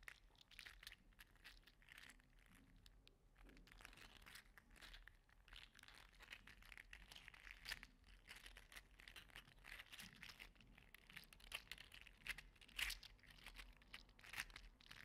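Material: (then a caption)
Plastic. A small orange 3D printed plastic articulated slug toy is squeezed and wiggled repeatedly with the fingers. Its segments make rapid, dense, bright clicks and crinkly crunches that run continuously at a low level. Occasional sharper snaps stand out toward the end.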